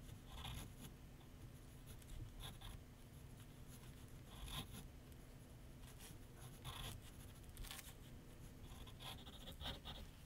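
A graphite pencil makes short sketch strokes on a large white paper sheet mounted on a flat board on an easel. Quiet, dry scratches come in brief bright bursts over a steady low hum, and the strokes continue evenly throughout.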